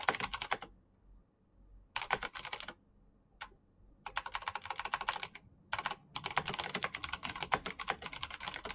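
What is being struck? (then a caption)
Plastic mechanical keyboard. Fingertips with short painted nails type fast on the keycaps of a full-size black plastic Razer BlackWidow mechanical keyboard with green clicky switches and RGB backlight. Bursts of sharp, bright clicks are broken by brief pauses.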